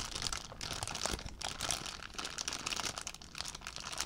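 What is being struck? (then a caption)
Plastic zip bag. An empty clear plastic zip bag is crinkled in one hand, giving a steady run of bright, crackling crinkles with many sharp little snaps and almost no low end. The sound is dry and close, with each crackle dying away almost at once.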